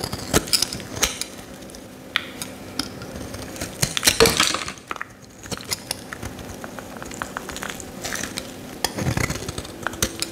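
A solid yellow Lifebuoy soap bar is held in the hand while a metal utility knife blade scores and scrapes its surface. Quick, sharp scratches and crisp ticks with a bright edge sound over a steady low hiss, with a longer, louder scrape partway through.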